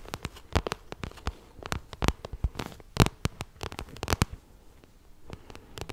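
Long nails tap and scratch the glossy plastic of a pink vinyl cosmetic pouch. The result is a rapid, irregular series of sharp, dry clicks with brief bright scratching between them. Each tap dies away almost instantly, leaving quiet gaps.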